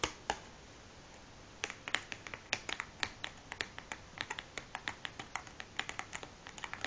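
Long fingernails tap and scratch the top of a large closed cardboard matchbox resting on a wooden table. Two sharp taps are followed by a short quiet gap, then a quick, irregular run of bright, dry clicks with very little ring and almost no low end.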